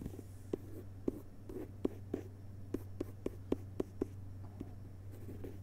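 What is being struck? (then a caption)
Hardcover book with paper dust jacket. Fingertips tap and scratch near the cover edges of a hardcover book with a glossy paper dust jacket lying flat on carpet. About a dozen soft, dry, separate taps with a dull low-mid thump stand out over faint papery scratching and a steady low hum. The taps die away at once, leaving a quiet, close, muted sound.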